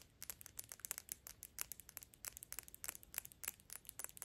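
Quick, light tapping of long pink acrylic nails on the front of a dark glass Gucci perfume bottle held in both hands. The result is a steady run of about 24 short, bright clicks with almost no ring.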